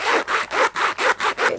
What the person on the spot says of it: this zip is a nasty cheap plastic zip i mean listen to that it just sounds cheap